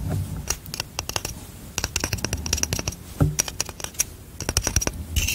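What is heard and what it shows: A hand-sized hourglass, a light wooden frame around a glass bulb of yellow sand, is held in one hand while long manicured nails tap and scratch the frame. Quick, sharp, bright clicks and taps come in irregular bursts, mixed with scratchy rasps and a soft low thud underneath. Each tap dies away almost at once.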